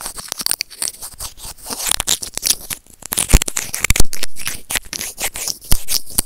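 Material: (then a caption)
Plastic. White plastic serrated tweezers scratch and pinch a small hollow white plastic earphone remote and mic, producing a rapid stream of dry, bright scraping and clicking close up. A few sharper, louder knocks break through now and then, each dying away almost instantly.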